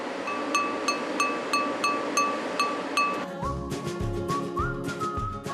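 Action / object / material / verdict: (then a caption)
tap / glazed earthenware pot / earthenware / sound. A glazed clay ttukbaegi earthenware pot, fired for 24 hours in a 1,200°C kiln, is tapped about eight times in a steady rhythm. Each tap gives a clear, ringing tone near 1.2 kHz, showing the pot came out well. Music with low notes follows in the second half.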